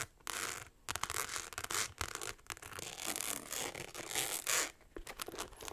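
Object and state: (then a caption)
Rhinestone-covered clutch purse. Long acrylic nails scratch fast across a small, hollow, rectangular clutch purse covered in tiny rhinestones, held in both hands. The result is a dense, bright, gritty scratching that comes in rapid bursts separated by brief pauses, with almost no low end.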